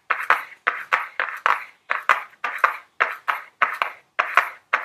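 Very long blue nails tap and scratch a small, flat Ellen Tracy cardboard makeup palette box held in the hands. The sound is a steady run of quick, dry, papery taps, often in close pairs, each trailing into a brief scratchy rasp. It sits in the midrange around 1 kHz, with no low end and almost no ring.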